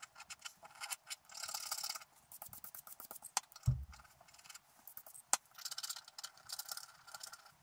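A wooden stylus and then fingertips scratch the black coating off a scratch art paper card around the figure. Irregular bursts of dry, bright scraping and crackling come and go, broken by a few sharp ticks and one dull low thump near the middle.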